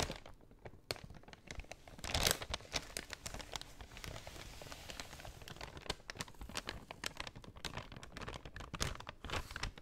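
Long nails scratch along the edge of a folded brown kraft paper shopping bag and crinkle it. The result is a quiet, continuous stream of dry crinkling and bright crackling ticks, with a louder rustling burst near the two-second mark.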